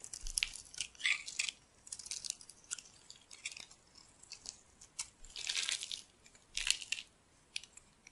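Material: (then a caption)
Soap. A metal blade cuts a crumbly grid into the surface of a solid pink and white striped bar soap held in the hand, breaking it into small cubes. Bright, dry crunching and scraping come in short bursts with quiet pauses between, and there is almost no low end.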